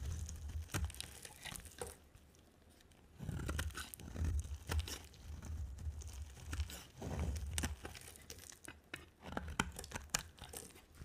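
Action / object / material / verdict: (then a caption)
scrape / bar of soap scraped with a knife blade / soap / none. A solid, dry bar of blue, white and green striped soap is held in the hand and scraped and carved with a utility knife blade. Dry, crisp scraping and crackly tearing cuts come in bursts with short, sharp snaps and brief quiet pauses. A soft low rumble sits underneath throughout.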